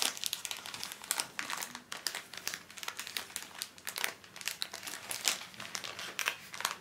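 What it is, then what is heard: Plastic-wrapped tissue pack being crinkled. A small pocket pack of paper tissues wrapped in thin crinkly plastic film is held in both hands while fingertips squeeze, rub and crinkle the wrapper. The result is dense, bright crinkling in quick irregular bursts, with almost no low end and very short decay.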